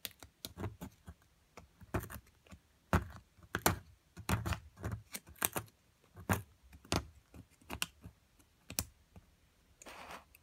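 A metal chisel chips at a solid plaster excavation block near purple fragments, making about twenty short, dry taps and clicks with a dull low thud and quick decay. The taps come at uneven intervals, and a brief gritty scrape closes the clip.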